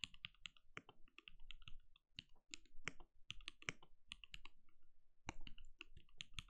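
A compact backlit mechanical keyboard with plastic keycaps and a translucent glowing case is typed on rapidly with the fingertips of both hands. A quick, uneven stream of short, crisp key clicks with a bright tick and a soft low thud plays over a quiet background.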